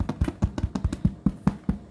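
A freshly baked sourdough loaf resting on a cooling rack is thumped twelve times in quick succession. Each thump is short, low and hollow with a drum-like sound and almost no high end. The hollow sound shows the loaf is properly baked through.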